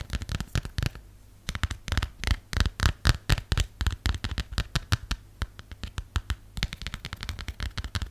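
Fingernails tap and scratch the textured back of a plastic phone case in a quick, irregular stream of short, dry clicks, with a brief pause near the one-second mark. Each tap is sharp with almost no ring, carrying a low knock under a bright clicky edge.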